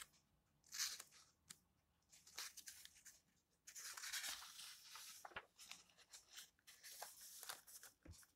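Fingertips and nails stroke the yellowed paper pages of an open old book, then lift and turn them. Quiet, bright papery swishes and crisp rustles come in irregular bursts, with a few sharp flicks as pages are lifted and flipped over.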